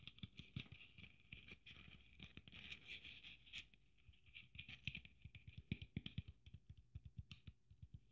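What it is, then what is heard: Sequin Christmas ornament. Long nails patter and scratch across a red sequin Christmas ornament trimmed with gold braid, making quick, dry taps with soft low thumps. A bright, crinkly rustle of the sequins centers around 2–3 kHz and swells in the middle. The close, quiet sound shifts between continuous scratching and a fast run of separate taps near the end.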